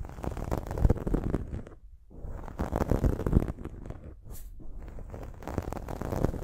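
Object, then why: Foam microphone windscreen. Long nails scratch the top of a dark foam windscreen on a silver microphone, producing dense, low, muffled rustling and scraping concentrated below 200 Hz. The scratching runs in uneven bursts with a brief quieter gap near two seconds before building again.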